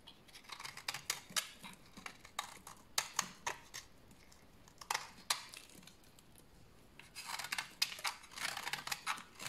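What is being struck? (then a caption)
Bar of soap shaved with a blade. A large, solid, dried tan bar of soap held in the hand is shaved with a utility knife blade, producing crunchy flakes. Many short, crisp scraping strokes come in quick bursts, bright and dry with almost no low end. There are quieter pauses between them and a denser run of shaving near the end.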